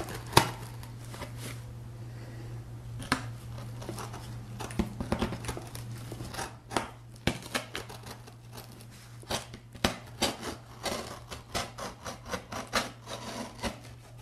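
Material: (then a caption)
Cardboard. A pen tip is dragged along the blue-taped seam of a large, empty corrugated cardboard box held in one hand, scratching and cutting through the tape. It makes a run of dry, crinkly scrapes and short tearing bursts, with a steady low hum underneath throughout.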